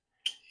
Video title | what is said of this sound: Reate Exo M added lock and clip make it a true EDC ! | you can shake it enough you can hear a little not much not much it's pretty tight in there